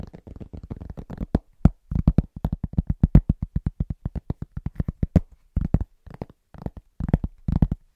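Fingertips of both hands tap rapidly on a large, thin, solid round pressed-cork trivet. The result is a fast, uneven patter of dozens of dull, low, muffled thuds that stop dead with no ring, broken by a few brief pauses.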